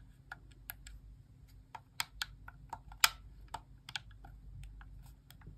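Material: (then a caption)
Plastic. Long nails tap and click the face buttons of a white plastic Xbox core wireless controller held in the hand, its hollow shell giving each press a light, hollow tone. A string of quick, dry, bright clicks comes at uneven intervals, one sharper and louder than the rest, with no ring after each one. A faint steady low hum runs underneath.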